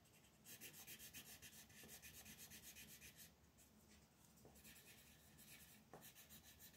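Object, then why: Wooden colored pencil on a paper sheet. A magenta wooden colored pencil shades the outer edge of a flat white paper mandala coloring sheet lying on a table. Quick, steady back-and-forth rubbing strokes produce a bright, dry scratching with a soft low scrape underneath, about four strokes per second. The strokes briefly thin out twice midway before resuming.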